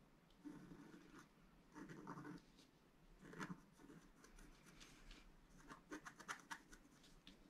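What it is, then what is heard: Scratch-art paper sheet. A wooden stylus scratches stripes onto a planet on a flat black-coated scratch-art card held by the fingertips of one hand. Soft, dry scraping strokes come in short bursts, some quiet and some sharper and brighter, over a faint low hum.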